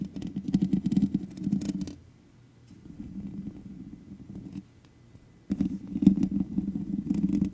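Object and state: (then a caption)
Metal mesh microphone grille being scratched. Long nails on both hands scratch the hollow metal mesh head of a black microphone, producing a dense, close, low rasping rumble. The scratching comes in three bursts: loud at first, softer in the middle after a brief pause, then loud again after a near-silent gap.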